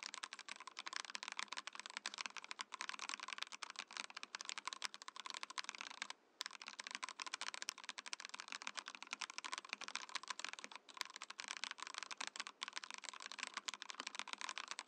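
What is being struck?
Mechanical keyboard, plastic case and plastic keycaps.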